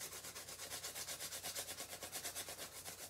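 A small, empty brown paper lunch bag is held upright in one hand while the fingertips of the other hand rub and scratch its surface. This makes a quiet, bright, rustling, sanding-like rub that swells and fades in a quick, steady back-and-forth rhythm.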